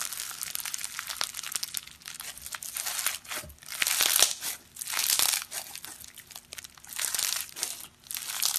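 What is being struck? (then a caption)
Foam-bead slime with polystyrene beads. Purple foam-bead slime (floam) made with polystyrene beads is stretched apart, pressed and kneaded with bare fingertips and thumbs on a grey surface. Its dense, bright crackling and crunching swells into louder bursts around the fourth, fifth, seventh and eighth seconds.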